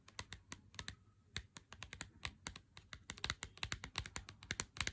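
Fingernails tap on a full Lindt Excellence 90% cardboard chocolate box held in the hand. A quick, irregular run of sharp, dry clicks sounds bright and crisp, with each tap dying away almost at once over a faint low hum.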